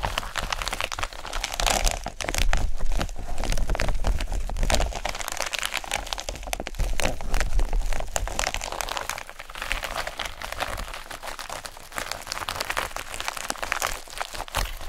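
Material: Plastic.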